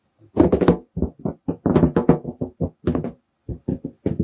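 Fingertips tap and drum on the surface of a large red latex balloon, hollow and air-filled, held in both hands. Quick bursts of soft, hollow, boomy thumps with a resonant tone around 330 Hz come in uneven clusters with brief pauses. Each tap dies away almost at once.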